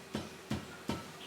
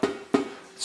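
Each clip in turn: First: Three soft, dull flicks on a screen-printing mesh that die at once: the mesh is loose. Second: Two sharp flicks give a drum-like twang with a steady mid pitch, the sound of a tightly stretched screen mesh.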